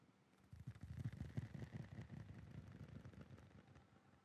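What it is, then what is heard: Metal licence plate being tapped. A metal novelty licence plate is tapped with quick, fairly regular taps that have an echo effect added. The taps are low and dull, blurring into a reverberant clatter that starts after about half a second and fades away toward the end.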